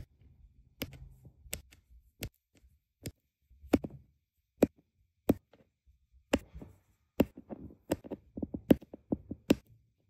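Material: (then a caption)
Resin. A plastic drill pen with a metal tip taps small solid round resin diamond painting drills into place on a flat adhesive canvas. A series of short, dry, sharp clicks with bright tops and almost no ring is spaced apart over quiet pauses, coming closer together near the end.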